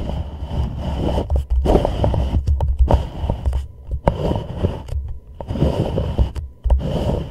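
A thumbnail scratches and taps the lower wall, near the rim, of an empty, hollow white plastic reusable cup turned upside down over a microphone. The sound is a close, boomy run of scraping strokes mixed with short, dull taps that stop quickly, with most of the energy in a deep low rumble.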